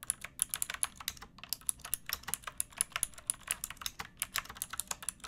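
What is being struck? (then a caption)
Plastic mechanical keyboard. Long nails and fingertips type on a backlit pink mechanical keyboard with round plastic keycaps and a hollow plastic case. A quick, uneven run of sharp, bright plastic clicks and clacks is heard, each dying away almost instantly with very little low end.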